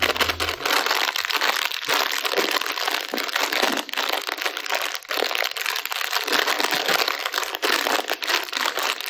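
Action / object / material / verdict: shake / metallized plastic snack bag of small crackers / metallized plastic / none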